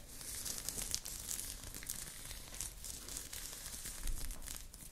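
A blue crochet knit top, worn on the body, is scratched with long nails at the shoulder and chest. The result is a steady, dense crinkling scratch with bright, airy texture and a soft low rumble underneath, without clear pauses between strokes.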